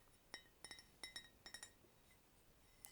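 Fingernails tap a thin-walled fine bone china cup decorated with a cathedral procession. A series of quick, bright clinks rings around 2 kHz, each fading almost instantly over a quiet background. The sound is distinctly different from the first cup's.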